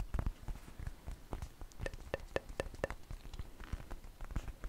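Long painted fingernails tap on a large, thin, flat flour tortilla that is dry and flexible and held up in both hands. The result is a quick, irregular run of soft, dry taps, mostly low and dull. A few sharper clicks in the middle carry a faint ring near 530 Hz.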